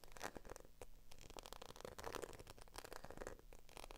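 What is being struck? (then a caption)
Faux leather handbag scratched and tapped with long nails. Long acrylic nails scratch and tap across the surface of a small black croc-embossed patent faux leather bag with a strap. The result is a quiet, steady stream of quick scratching and scraping with short, dry tapping clicks that die away almost instantly.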